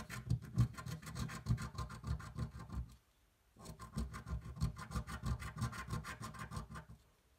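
A coin rubs and scratches away the remaining scratch coating on a thin paper scratch-off lottery ticket resting on a table. Quick, rhythmic rasping strokes run for about three seconds, stop briefly, then resume for another three and a half seconds. The scraping is dry and low-heavy, with faint bright grit above it.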